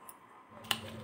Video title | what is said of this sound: गेहूं के आटे के पापड़ बिना बेले बिना भाप के सिर्फ 5मिनट में 50पापड़-Gehu Ke Aate Ke Papad-Papad Re | कितने क्रिस्पी पापड़ बने हैं एकदम सॉफ्ट हाथों से तोड़ते ही बिल्कुल चूर हो जा रहे हैं